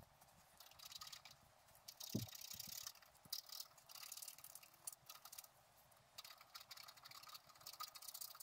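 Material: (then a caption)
Coated paper. A wooden stylus scratches a squirrel outline into a flat scratch-art card of black-coated paper. Bursts of bright, hissy scratching come and go with short quiet pauses between strokes, plus a brief low thump near the two-second mark.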